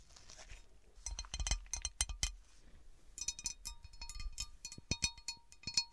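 Long painted nails tap and scratch the textured surface and rim of an empty, large, round, divided cut glass serving platter. Quick, bright clinks with a brief high ring alternate with soft scratchy rustling, and each tap dies away almost at once.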